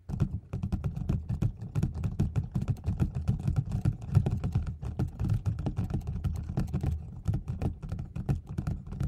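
Nails and fingertips tap the sides and top of a closed white cardboard gift box held in both hands. The result is a quick, steady, keyboard-like patter of dull, low, hollow knocks that die away almost instantly, with faint clicky edges.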